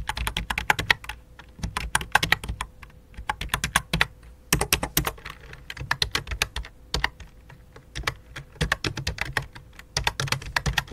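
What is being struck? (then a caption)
Plastic computer keyboard. Fingertips with long dark nails type on the letter keys and numeric keypad of a full-size white and light-blue plastic computer keyboard resting on black cloth. Quick, sharp plastic clicks come in bursts with brief pauses, each tap bright and dying away almost instantly. A faint steady tone runs underneath.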